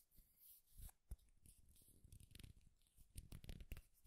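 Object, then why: Wooden popsicle-stick clip. A flat, thin, solid wooden popsicle-stick clip with an owl decoration is gripped in both hands and scratched with the fingernails. The quiet, dry scratching comes in short, crackly bursts with a soft low rumble beneath, rising and falling irregularly throughout.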